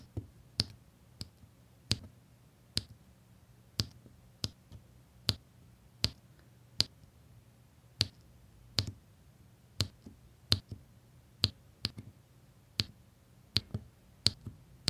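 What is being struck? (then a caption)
Resin diamond painting drills on sticky canvas. A plastic drill pen places small solid faceted resin diamond painting drills one by one onto a flat sticky printed canvas. About 19 short, bright clicks ring out at a steady pace as each drill is pressed down, each dying away almost instantly over a faint, steady low hum.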